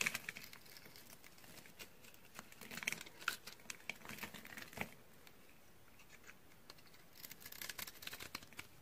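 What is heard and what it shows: A utility knife blade scores and cuts the end of a white, solid, dry bar of soap held in the hand, and white flakes and powder crumble off. The sound is a run of dry, bright, crisp scraping crunches and short crackles, with busier bursts near the start and end and a quieter stretch in the middle.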